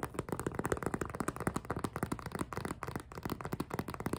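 A small, empty clear PVC zippered cosmetic pouch with pink trim is gripped, squeezed and scratched with long nails. It gives a rapid, uneven stream of short crinkly squeaks and scratchy taps. The sound is dull and mid-low with almost no bright edge, and each sound dies away almost at once.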